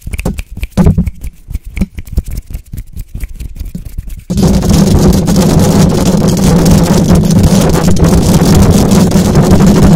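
Long acrylic nails of both hands scratch fast over the hollow metal mesh grille of a silver condenser microphone. For the first four seconds there are quick, separate scratchy strokes with a low, boomy thud. The scratching then turns into a louder, continuous, rapid rasp with a steady low hum that lasts to the end.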